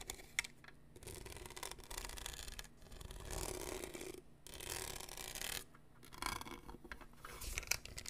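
A large, hollow, apparently empty black plastic tumbler with a lid, a straw and a studded surface printed "Class of 2022" is held in one hand near the mic while the fingertips and nails of the other hand scratch and tap the studs. Long bright, rasping bursts of scratching alternate with short pauses, and sharp, dry taps with no ring stand out.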